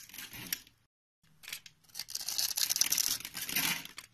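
A utility knife blade shaves and cuts into a solid, hand-sized white soap bar with an embossed logo, held in the palm. Bright, crisp scraping and crinkly cutting sounds come in quick, irregular strokes, stop for a short silence, then return denser and louder as the blade keeps carving.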